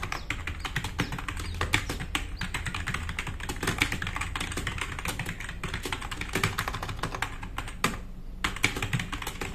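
Fast two-handed fingertip typing on a black RGB-backlit tenkeyless plastic mechanical keyboard with plastic keycaps, resting on a wooden desk. A dense, steady stream of short, bright clicks and clacks with a low thock underneath, each keystroke dying away almost at once, with a brief lull near the end before typing resumes.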